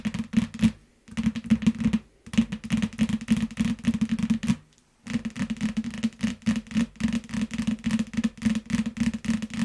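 A yellow paperback book still in its clear plastic shrink wrap, lying flat on a mat, is tapped and scratched with the long nails of both hands. It produces rapid, uneven clicks and crinkly scratches with a low hollow thump around 230 Hz, broken by two short pauses.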